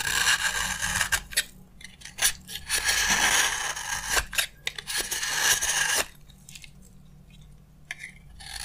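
A utility knife blade scrapes powdery shavings off a solid, hand-sized green bar of dry soap. Bright, crisp, gritty scraping strokes come in quick, uneven bursts for about six seconds. Then it drops to near quiet, with only a couple of faint strokes at the end.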